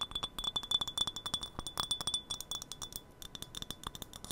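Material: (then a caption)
Glass. Long nails tap a small, empty, hollow glass tea cup, clear or patterned, held close to the mic. It makes a rapid, irregular stream of bright, dry clinks with a thin glassy tone near 3.5 kHz that dies away almost at once. There is very little low end.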